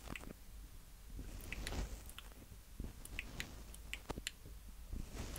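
Fingertips of both hands tap and rub the two mic heads on top of a small black plastic Tascam DR-05X handheld recorder. Close, heavy low thumps and rumbling scrapes are scattered with short, sharp bright clicks that die away almost instantly.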